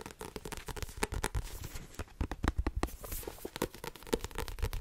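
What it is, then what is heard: Paperback book, solid. Fingertips and long nails tap fast on the front cover and spine of a small, solid, blue-covered paperback book with a card cover. The result is a rapid, uneven stream of short, dry taps: dull low thuds from the fingertips mixed with brighter clicks from the nails. Each tap dies away almost at once.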